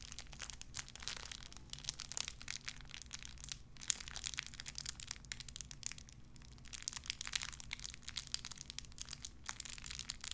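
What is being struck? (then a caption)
Thin clear plastic bag. A small clear plastic bag wrapped around a tiny white figurine is crinkled and squeezed between fingertips with long red nails. Dense, bright, crackling crinkles come in rapid bursts over a steady low hum.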